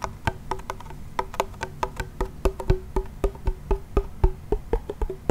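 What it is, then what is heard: Wooden toy pellet drum. A small wooden toy pellet drum, with a wooden frame, a white membrane and a wooden handle, is shaken and twisted so its beads strike the heads. It gives a quick, slightly uneven run of dry, hollow wood-block-like taps, each with a short midrange tone and a low thump that dies away almost instantly.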